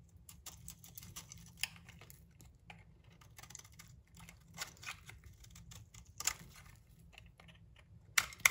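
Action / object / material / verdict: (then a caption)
scrape / bar of soap / soap / none. A metal blade scrapes and shaves the face of a hand-held, solid rectangular bar of translucent amber soap with a bronze-coloured coating on its edges, peeling off curls as shavings pile up around it. The sound is quiet, crisp, bright scratching and crackling in irregular short bursts, with a few sharper louder scrapes near the end over a faint low background rumble.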